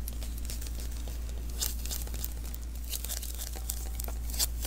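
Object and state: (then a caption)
Sticky lint roller refill being tapped and peeled. A small hollow sticky lint roller refill, an adhesive paper roll, is held in the hands while fingertips tap and press its tacky surface. Quick, uneven, crinkly peels and bright sticky crackles come one after another over a steady low hum.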